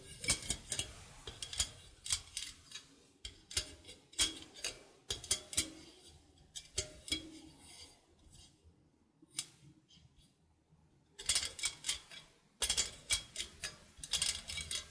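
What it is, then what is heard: Metal egg slicer wires plucked and scratched. A stainless steel egg slicer is held in both hands while glittery painted nails pluck and scratch its steel cutting wires on the hinged wire frame. Quick, bright metallic plinks and scrapes come in irregular bursts, each one dying away almost at once. A quieter stretch of light scratching sits near the middle before the plucking picks up again.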